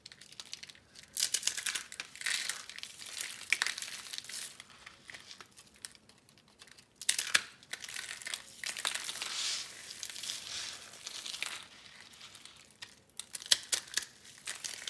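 Pink rolled dry soap curls, small hollow tubes picked up from a star arrangement, are squeezed and crushed between two hands with red-painted nails. Bright, dry crunching and crinkling comes in bursts with brief pauses as the brittle curls crumble into flakes.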